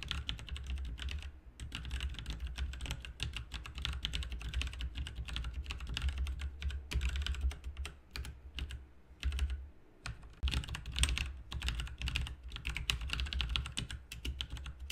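Both hands type rapidly with their fingertips on an RGB backlit mechanical keyboard with plastic keycaps, producing a dense stream of sharp clicky keystrokes. Brief pauses break the stream near 1.5, 9.5 and 10.3 seconds. A steady low hum around 70 Hz runs underneath the bright, crisp clatter.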